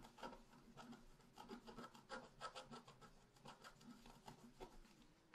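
A wooden stylus scratches a leaf shape into the lower right of a flat, black-coated scratch art paper sheet. Quiet, dry rasping strokes come in quick, uneven bursts, each a short, bright scrape that stops with almost no ring.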